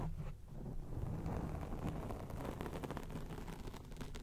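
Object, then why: Foam microphone windscreen. A grey foam microphone windscreen is scratched rapidly on both sides with long acrylic nails. The result is a continuous, muffled rumbling scrape dominated by deep low tones, with quick, faint bright ticks flickering through it.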